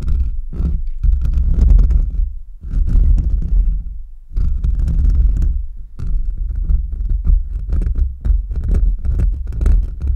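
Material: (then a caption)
Metal mesh. Short nails and fingertips of both hands rapidly scratch the bare, hollow metal mesh grille of a large USB microphone. The result is a dense, deep rumbling scratch concentrated in the lows, coming in rough bursts with brief dips between them and faint bright crackles on top.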